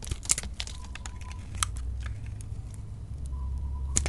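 A utility knife blade shaves thin curls off a solid lilac soap bar held in the hand, producing crisp, bright scraping and crackling bursts. The sharpest strokes come near the start, in the middle and at the very end, over a steady low rumble.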